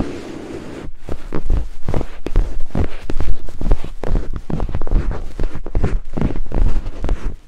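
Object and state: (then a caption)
Silicone microphone ear scraped with wooden picks. Two thin wooden picks held in fingertips scrape rapidly across white silicone binaural microphone ears, producing dense, muffled, bass-heavy rubbing and thumping strokes. After a quieter low hum for about the first second, the strokes run in a fast, steady flutter with almost no brightness.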